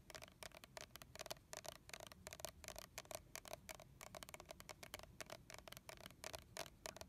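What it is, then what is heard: Plastic mist bottle being tapped. Both hands tap and scratch closely with fingernails on a hollow red plastic body mist bottle holding liquid, with a colorful leaf label. Quick, dry, bright clicks follow in an uneven rapid stream, each carrying a faint hollow plastic tone around 640 Hz. The taps stop almost instantly, over a low, quiet background hiss.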